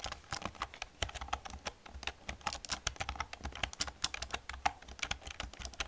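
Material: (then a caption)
Plastic. Fast typing with long painted nails and fingertips on an old black plastic computer keyboard with hollow plastic keys. A rapid stream of bright, sharp clicks and clacks, each dying away almost instantly, runs over a faint low background hum.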